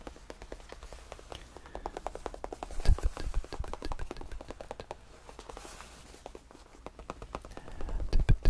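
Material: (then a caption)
Faux leather. Fingertips tap rapidly on the padded cream faux leather top of a tufted bench, and flat hands rub across the surface. The result is a stream of soft, dull, low-heavy taps that die out almost instantly, with a faint brushing sound between them. The tapping grows louder around the third second and again near the end.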